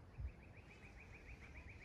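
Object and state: Nothing is struck.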